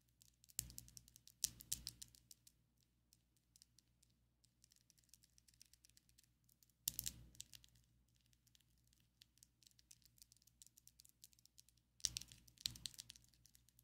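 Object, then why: Long acrylic fingernails. Long coffin-shaped ombre acrylic fake nails on both hands tap against each other, making quick, light, bright clicks that patter steadily. Denser, louder flurries of clicking come near the start, around seven seconds, and again near twelve to thirteen seconds. A faint low hum runs underneath the whole time.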